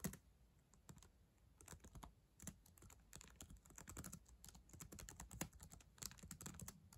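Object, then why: Plastic laptop keyboard keys. Long acrylic nails and fingertips type steadily on the plastic keys of a black ThinkPad laptop keyboard, a solid device. The result is a quiet, rapid stream of short, dry clicks and taps with bright clacks over a soft, low thud.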